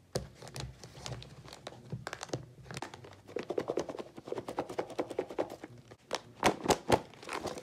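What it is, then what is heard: Plastic salad clamshell container. A clear, rigid, medium-size plastic clamshell container, hollow and partly filled with loose salad leaves and cherry tomatoes, is tapped on the lid with long pink nails, giving a rapid run of crisp, crinkly clicks with a hollow plastic tone around 460 Hz. It is then picked up and shaken, and the contents thunk against the plastic in louder, fuller bursts near the end.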